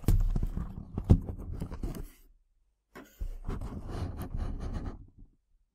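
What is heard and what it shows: Long black-painted nails scratch and rub across the front face of a small, hollow, printed cardboard box of herbal tea bags lying on a table. Two bursts of dense, scratchy rubbing with a papery hiss sit over a low, hollow rumble, with a brief quiet gap between them.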